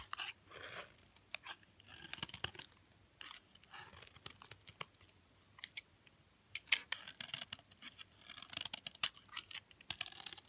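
A utility knife blade repeatedly cuts crunchy flakes off the edge of a solid, hard green olive oil soap bar. Dry, bright scraping crunches and short crackling snaps come in quick irregular bursts, with almost no low end and no ringing after each cut.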